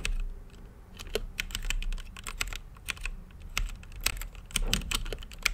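Fingertips type on an RGB-lit mechanical keyboard with plastic keycaps, a clear acrylic case and Gateron brown switches. Its keys give a quick run of short, bright clicks and clacks that stop dead, with no ring. A steady low hum runs underneath.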